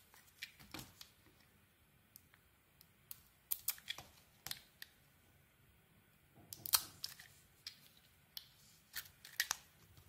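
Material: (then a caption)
Soap. A metal blade shaves the outer layer off a solid oval turquoise Babydream soap bar held in the palm. The result is a quiet, irregular series of short, crisp scraping and crackling bursts, bright and high with almost no low end, each fading almost instantly.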